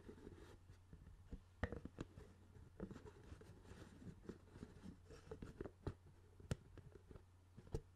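Fingers tap and scratch the hollow lid of a clear plastic CD spindle case with a black base, held beside the microphone. Quiet, dry, hollow plastic taps and scratchy rubbing repeat throughout over a steady low hum, with each tap dying away almost instantly.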